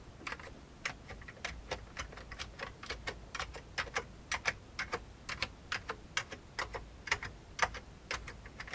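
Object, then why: Plastic computer keyboard keys. Fingertips type on an old beige full-size plastic computer keyboard with hollow keycaps, producing about 37 short, bright, clicky key taps at an irregular pace. Each tap decays almost instantly over a faint low background rumble.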